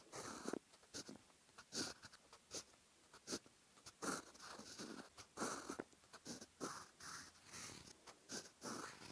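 A silver steel fountain pen nib scratches across a lined cream paper notebook page while writing Japanese text in orange ink. Short, bright scratchy strokes with a papery hiss come in quick irregular bursts, separated by brief quiet pauses as the pen lifts between strokes.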